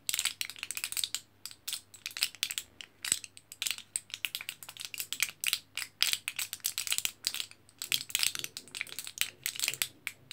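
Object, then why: Aluminium foil and plastic blister pack. Fingertips and nails scratch and press the orange printed aluminium foil side of a foil-backed plastic blister pack of capsules, a thin sheet with hollow pockets. Dense bursts of bright, crinkly scratching and tapping come in quick uneven clusters, with almost no low end and only a faint steady hum beneath.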